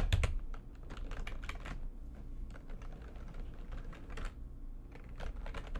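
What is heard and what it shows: Fast typing with fingertips and nails, hands spread over the keys of a backlit plastic computer keyboard. Quick, bright key clicks and taps run together in a steady stream over a low background rumble.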